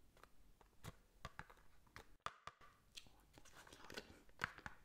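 Long nails scratch along the ridges of a small, hollow white ridged cardboard box and tap its surface. The result is quiet, dry scraping rasps broken by a quick series of crisp, bright clicks that stop dead with no ring.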